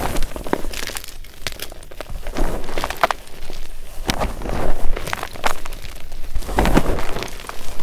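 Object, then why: Magnesium carbonate gym chalk blocks and powder in a glass bowl. A pile of white magnesium carbonate gym chalk chunks and powder in a glass bowl is squeezed and kneaded with bare fingers. Dense, crunchy crushing and crinkling comes in bursts of sharp cracks over a low rumble, with brief bright snaps as the chunks break down.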